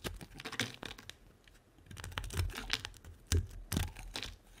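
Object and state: Bar of soap being shaved.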